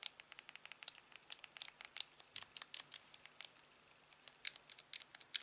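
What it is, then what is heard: Plastic game remote buttons clicked. A thumb repeatedly clicks the side buttons of a hollow blue plastic Wii remote fitted in a clear silicone sleeve. About 28 short, dry, bright plastic clicks come in an uneven stream over five and a half seconds. They are quiet and crisp, with almost no low end and no ring after each click.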